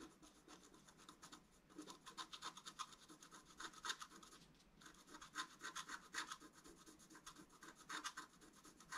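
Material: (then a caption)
Coated paper. A wooden stylus rubs and scratches across a thin, solid, flat black wax-coated scratch-art card. The result is a steady run of dry, papery scraping strokes with a bright, hissy edge, coming in irregular bursts with brief pauses between them.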